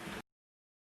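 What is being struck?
Nothing is struck.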